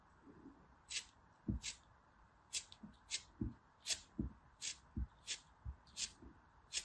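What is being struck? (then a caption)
Pressed soap block cut with a metal blade. A small, solid, brown, gritty pressed soap piece is held in the fingers and scraped and cut with a metal blade. It gives a quick series of short, crisp scraping crunches, each with a bright, high rasp and some with a low, dull thud. The crunches stop quickly, with quiet pauses between them.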